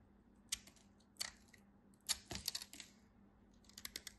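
A knife blade slices through a carved piece of white bar soap held by long white nails. Quiet, crisp, bright cuts and scrapes come in short bursts, with a denser cluster in the middle. Each ends almost instantly over a faint steady low hum.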